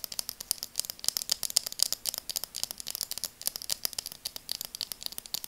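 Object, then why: Plastic eyeglass frame tapped and scratched with fingernails. Long dark nails tap and scratch the frame of a pair of burgundy translucent plastic-framed glasses held in both hands. About 37 rapid, irregular, bright clicks sound over five seconds. Each click is very short and crisp, with almost no low end.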